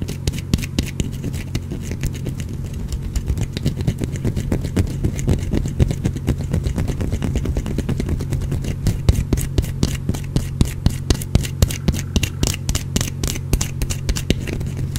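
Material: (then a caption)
Soap. A small, solid green bar of soap is held in the fingers and scratched with the fingernails, dropping shavings onto a cloth below. Quick, dry scratching clicks come in a fast, uneven stream over a steady low hum, growing sharper and brighter in the second half.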